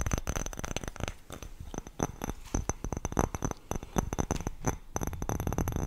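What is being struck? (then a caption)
Glass bowl. A clear greenish glass bowl, hollow and empty, is held up and tapped quickly with long nails on its rim and sides. The result is a fast, uneven run of short, dull clicks and soft thuds, each with a faint high ring that dies away almost at once.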